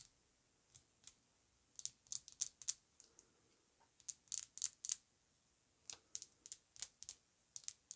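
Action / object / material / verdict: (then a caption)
tap / glass perfume bottle tapped with fingernails / glass / none. Long acrylic nails tap across the front and sides of a hand-sized, apparently full Amouage Guidance perfume bottle, a rectangular pink-coated glass bottle with a gold metal emblem and a cream cap, lying on faux fur. The taps are quiet, dry, high, bright clicks that stop instantly with no ring. They come in uneven bursts of quick strikes separated by short pauses.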